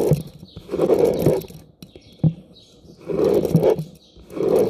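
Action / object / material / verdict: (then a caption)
scrape / plastic round hairbrush with metal pins / metal, plastic / none. Fingertips and nails strum and scratch across the many thin, ball-tipped metal pins of a hand-sized, light blue plastic round hairbrush held close up. Bursts of dense, buzzing scratching come in waves, broken by sharp plucks and quiet pauses.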